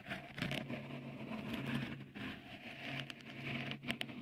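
Fingertips tap and scratch a small, hollow, white dimpled cover, likely silicone, fitted on the right capsule of a Tascam recorder. The result is close, soft patter and crackly scraping with brief sharper taps near the end, over a steady low hum.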